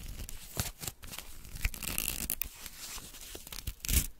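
Small torn pieces of thin white paper are pinched between fingertips with long nails and torn into smaller bits. Quiet, dry crinkling runs throughout, broken by short, bright tearing rips that peak near the end.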